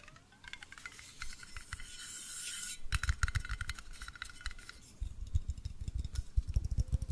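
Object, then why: Glass jar with metal screw lid. A hollow, apparently empty medium blue glass mason jar with a metal screw lid is held up in both hands and tapped rapidly with fingertips and nails on its glass sides and lid. The result is a quick, dense run of short, dull clicks and taps, with a soft, bright scratchy hiss partway through before the tapping picks up again.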